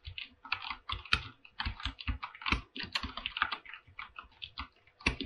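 Fingertips type on a full-size mechanical keyboard with PBT plastic keycaps and a silver aluminum body. A rapid, uneven run of keystrokes is heard: each has a bright, clacky top and a low thock underneath and dies away almost at once, with a few louder, heavier presses standing out.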